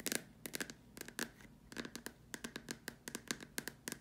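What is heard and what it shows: Long dark nails tap and scratch the sides and the rim of the top opening of a large, hollow white plastic dome lamp shade. The result is a quick, uneven run of sharp, dry clicks with bright, hollow plastic ticks that stop almost at once, broken by soft scratchy scrapes between them.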